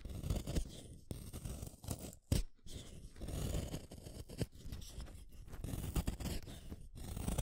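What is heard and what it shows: A yellow wooden colored pencil is shaved by the metal blade of a yellow plastic hand sharpener, one at a time. The result is a steady, low, rough scraping cut with many small grinding bursts and brief pauses between turns.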